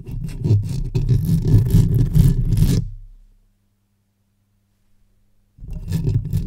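Long white-tipped acrylic nails on both hands scratch and rub the top and sides of the hollow metal mesh grille of a black Blue Yeti USB microphone on a stand, then move to the front of its metal body. Fast, dense scratching produces a deep, boomy rumble for about three seconds, fades into near silence for roughly two seconds, then starts again abruptly.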